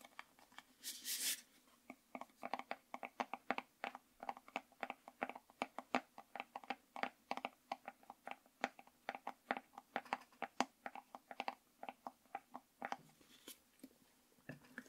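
Fingertips and nails of both hands tap and scratch the orange lid of a hollow orange plastic jar held upright. The result is a steady run of short, dry, hollow taps with brief bright scratching. An early burst of brighter, noisier scratching sits near the one-second mark.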